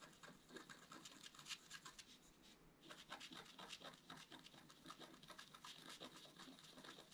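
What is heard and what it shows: A wooden stylus scratches a flat black-coated scratch art paper card with rapid, short strokes. The result is a quiet, dense run of bright, dry scratching and rasping with many quick scrapes and no ring. There is a short lull a little before the three-second mark.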